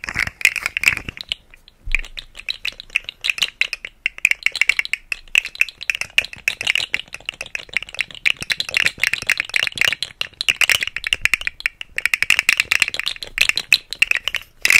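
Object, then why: Segmented plastic fidget slug toy. A rainbow segmented plastic fidget slug toy is held against the side of the mic and flexed by hand, its hollow segments rattling. Dense, dry, bright clicks and clatters run throughout with almost no low end, pausing briefly near the second mark before resuming.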